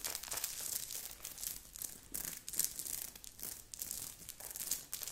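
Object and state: Sequined knit sweater being scratched.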